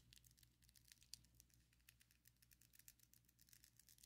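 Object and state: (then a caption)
Acrylic nails tapping together. Long, coffin-shaped ombre acrylic fake nails on both hands tap and rub against each other. The result is a quiet, rapid stream of bright, dry clicks and scratchy rubs that stop instantly, over a faint steady low hum.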